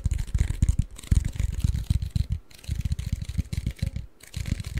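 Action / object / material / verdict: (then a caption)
tap / cardboard chip can / cardboard / none. Fingertips and short nails of both hands scratch and tap a tall, hollow cardboard Pringles chip can with a paper label. The result is a rapid, irregular run of dull, low thumps over a faint bright scratchy hiss, with brief pauses between bursts.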